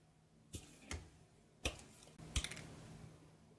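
A knife cuts slices from a grey soap bar held in the hand, producing several short, crisp cutting snaps with bright crackle and dull low thumps. They come at an uneven pace over a faint steady hum.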